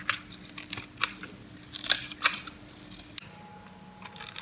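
An orange, oval, solid dry soap bar held in the palm has its face shaved and crumbled with a metal knife blade. Bright, dry, crunchy scrapes come in irregular bursts with quiet gaps between them, over a faint steady hum that shifts about two-thirds of the way through.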